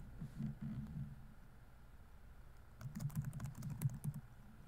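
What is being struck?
Plastic laptop keyboard.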